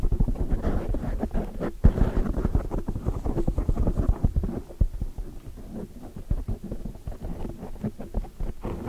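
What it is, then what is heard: Foam microphone windscreen being scratched and tapped. Long dark nails rapidly scratch and tap a large black foam windscreen over a microphone while fingertips brush its sides. The result is a dense run of muffled, low, boomy thumps and scratchy rustling with no bright content, loudest in the first half before settling into softer, quicker tapping.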